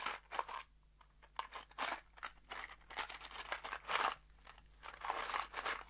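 A small kraft cardboard box holding screws is shaken in an open hand. It makes quiet, irregular bursts of dry, crunchy rattling with a bright, papery edge, over a faint steady low hum.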